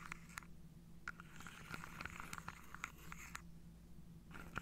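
Long painted fingernails scratch across and tap on the tops of upright wooden dominoes packed into a hand-sized carved wooden tray held on a lap. Quiet, dry scraping is broken by a series of short, sharp clicks with a bright woody tone around 1.4 kHz that die away almost at once, over a faint low hum.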